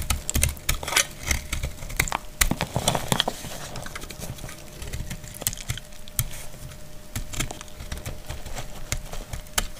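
A utility knife blade cuts into a palm-sized, solid, dried white soap bar held in the hand, breaking off chalky chunks. A dense run of sharp, dry clicks and crisp crackles sounds with bright, scratchy edges, while a faint steady tone hums underneath.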